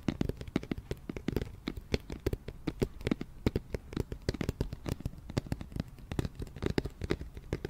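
An empty, hollow, round white cardboard flower box is turned in the hands while its side and base are tapped with long nails and fingertips. A rapid, uneven stream of short, dry taps mixes hollow low thumps with sharper clicks, each dying away almost at once with no ringing.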